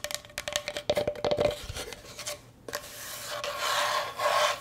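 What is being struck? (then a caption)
Bamboo cutting board. Long nails scratch back and forth across the grain of a solid, rectangular striped bamboo cutting board held in both hands. Quick, uneven rasping strokes carry a faint ringing tone, then settle into a steadier, brighter scraping rasp that swells toward the end.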